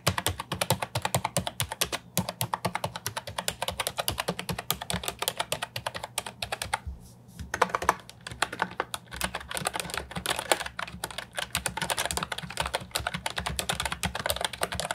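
A compact hollow plastic Ajazz 308I keyboard with round retro typewriter-style keycaps is typed on with fingertips. Rapid, continuous clacky keystrokes are heard, with bright, short clicks and a brief pause partway through before the typing resumes.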